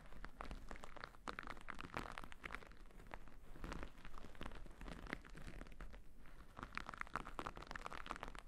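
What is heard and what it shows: A thick, white, fluffy cotton terry cloth towel with a printed face, draped over a microphone, is scratched with two small thin orange-tipped tools held between long-nailed fingers. The result is a quiet, continuous, soft crunchy scratching with rapid crinkly strokes over a low rumble, its texture centered in the mids around 1.3 kHz.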